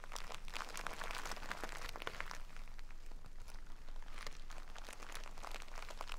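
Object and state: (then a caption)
Burlap bag full of rice. A full jute burlap bag of rice, held upright, is scratched with long nails and squeezed, making the rice crunch and shift inside. The sound is a steady, dense stream of dry, crinkly scratching and grainy crunches, with bright rasping texture over a soft low rumble.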